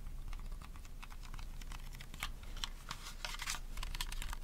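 A small purple hollow plastic mini handheld fan, held in both hands close to the mic, is tapped and scratched rapidly with fingernails. It produces a fast, dense stream of dry, bright clicks and scrapes, like typing on a keyboard. The taps are short with no ring, over a steady low rumble.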